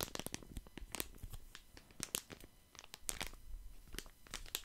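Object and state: Plastic wet wipes packet.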